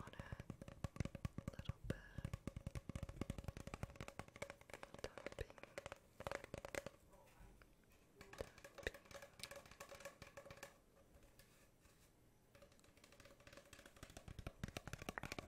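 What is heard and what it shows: A hollow cardboard tube is tapped rapidly, giving a dense run of sharp, short, low-pitched knocks. The tapping eases into a quieter stretch in the middle before picking up again toward the end.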